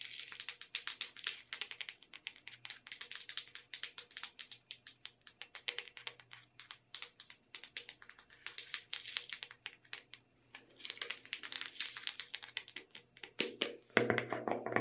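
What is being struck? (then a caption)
Small plastic tub filled with sugar sprinkles. Long red nails tap quickly on the wall and lid of a small clear plastic tub with a lid, full of colorful sugar sprinkles. The result is a steady stream of bright, dry plastic clicks with very short decay and a faint low hum underneath, ending in a denser, louder burst of tapping.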